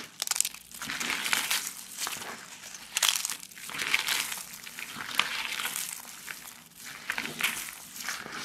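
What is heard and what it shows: Both hands press, crush and rub a large pile of thin, brittle, dry pastel soap shavings in pink, green and yellow with their fingertips throughout. The result is a dense, bright crinkling and crunching with almost no low end, swelling and easing in waves with sharp crackly peaks.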